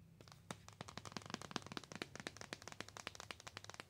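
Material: Cardboard.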